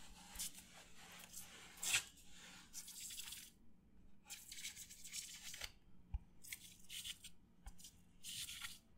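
A white disposable paper plate held in front of the face is scratched and rubbed with fingertips and nails. Bursts of bright, dry, hissy scratching come and go with short quiet gaps between them, with a louder rasp near the two-second mark and a faint low click later on.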